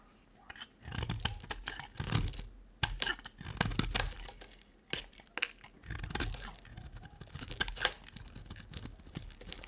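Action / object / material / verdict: scrape / bar of soap / soap / none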